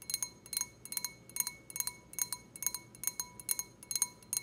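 Long red-painted nails tap the bowl of an empty, clear stemmed wine glass with a white printed design, held in the hand. The result is a steady run of quick, bright double taps, each a short glassy clink with a thin, high ring that fades almost at once.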